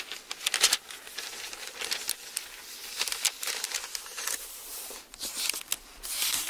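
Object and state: Thin Bible paper pages being turned and rubbed.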